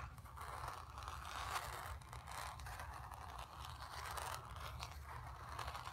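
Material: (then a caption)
Canvas. Long nails scratch across the surface of a painted, stretched canvas. The result is a steady, dry scraping and rustling texture with a papery tearing quality, centered in the midrange with bright grit on top and a low rumble underneath.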